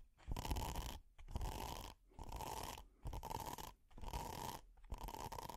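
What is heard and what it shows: Metal finger picks and nails scratch a flat red hexagonal silicone pot holder with a honeycomb texture. Six rough, rasping bursts of scratching are separated by short pauses, each carrying a heavy low rumble and a steady tone near 1 kHz.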